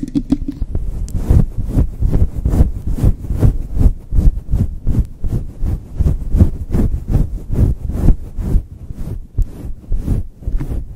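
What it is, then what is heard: Faux fur microphone windscreen being scratched. Long chrome nails quickly scratch and rub a hand-sized, grey-white fluffy faux fur windscreen fitted soft and hollow over a microphone head and its capsule. The result is a fast, uneven run of deep, muffled thumping rumbles and whooshes, almost all low in pitch, with only faint bright crackles at the start.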